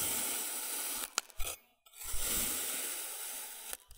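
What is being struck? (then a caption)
Block of packed kinetic sand cut with a metal blade. A wavy-edged metal blade slices repeatedly through a brick-sized rectangular block of packed, glowing orange kinetic sand. Each cut produces a long, bright, hissing scrape as the blade slides through the sand, broken by short soft crunches and a brief silence between strokes.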